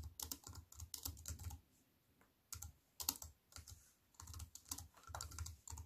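Fingers with long white nails type with both hands on a compact aluminium and plastic wireless keyboard resting on a wooden table. Quick, bright key clicks with a soft low thump come in rapid bursts, broken by short pauses of near silence, and each click dies away almost at once.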